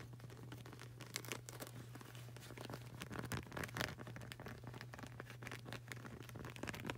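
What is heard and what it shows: Fingertips and nails tap quickly on the solid, textured grey rubber sole of a flip-flop sandal. The result is a dense run of soft, dry clicks and light crinkly scratches over a steady low hum.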